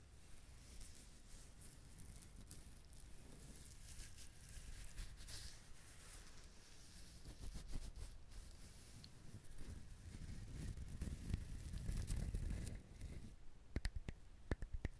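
A whole, fibrous, dried husked coconut is held in the hands and scratched with fingernails, producing a soft, continuous scratchy patter over a low rumble of handling. The rubbing swells louder toward the middle and end, then breaks into a few sharp, bright clicks in the last seconds.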